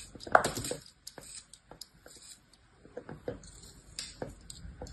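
An orange plastic knife blade slices and scrapes through a solid mound of beige kinetic sand resting on the back of a hand. The result is a quiet series of short, crisp, gritty cuts and soft crumbly scrapes with a bright, sandy hiss, separated by brief pauses.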